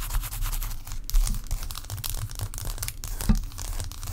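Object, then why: Ice block. Long acrylic nails tap and scratch a large solid block of ice resting on a towel. Quick clicking taps mix with rough, crinkly scraping over a deep low rumble, with a few sharper knocks standing out.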